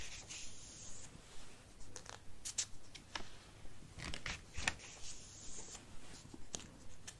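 Fingertips trace and rub across the paper pages of an open sketchbook lying flat on a wooden table, making soft scratchy rustles. Brief, bright crackles recur at an uneven pace over a low, quiet background, with pages likely being turned between passes.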